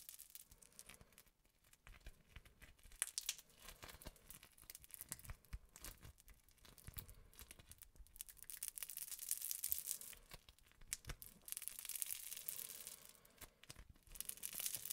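Fingertips squish, fold and stretch a crunchy foam-bead slime, a soft solid mass studded with beads. The result is a quiet, steady stream of dense, bright crackles and tiny pops, swelling louder in bursts as the slime is worked.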